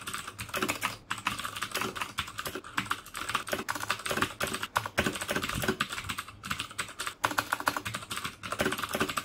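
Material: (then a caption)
Plastic. Fingertips type steadily on a black plastic mechanical keyboard fitted with clicky Cherry MX Blue switches. The result is a rapid, dense stream of sharp, bright clicks, each dying away almost at once, broken by a few brief pauses between bursts.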